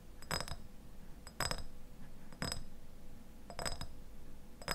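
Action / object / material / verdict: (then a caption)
tap / glass jar with plastic lid / glass / none. A medium clear glass jar with a white lid, partly filled with pale contents, is held in both hands while fingertips and nails tap and scratch its glass sides. Short bursts of quick clicking taps come at uneven intervals, each with a bright, high glassy ring that dies away almost at once. A faint, steady low hum runs underneath throughout.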